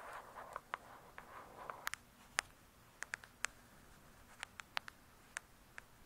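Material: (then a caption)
Cardboard. Long pointed acrylic nails tap quickly on the glossy, paper-covered cardboard cover of a thick, solid hardcover "True Crime" book, seen from the spine side. A soft, scratchy rustle with a few light taps opens the clip, then gives way to sharp, dry, bright clicks centered near 1.8 kHz. The clicks come in irregular bursts and stop instantly with no ring, over a quiet background.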